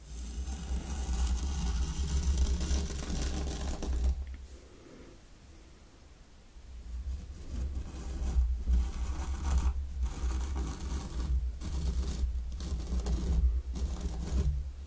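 A mini wooden rake is dragged through fine pink sand in a small round wooden zen garden tray while the other hand steadies the tray. A steady, bright scratchy raking runs for about four seconds, falls to a quiet lull, then returns as a series of raking strokes broken by short gaps, all over a constant low hum.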